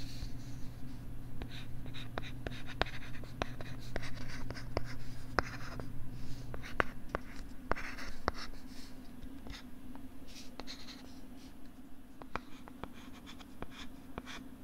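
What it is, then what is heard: Plastic LCD writing tablet. A plastic stylus is moved in writing strokes across the screen of a flat pink plastic LCD writing tablet held close to the microphone. Soft scratchy strokes are punctuated by many short, sharp ticks, at an irregular pace over a steady low hum. A deeper low tone in that hum drops away about halfway through.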